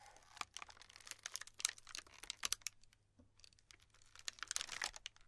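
Flat palms and fingertips with long pink nails press into and rub across a large, round, solid slab of tiny pastel polystyrene foam beads glued together, sitting in a black tray. The result is a quiet, bright crinkling and crackling made of many quick, sharp snaps and pops, with almost no low end. The activity eases into a brief lull near the middle before building up again.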